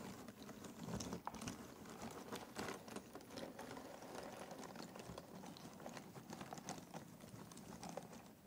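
Fingertips pick at and stir a pile of small cardboard jigsaw puzzle pieces in a box. It makes a steady, quiet stream of soft, dry clicks and rustling taps with a few slightly louder clacks. Each tap dies away almost instantly.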